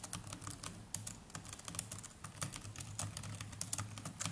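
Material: Plastic.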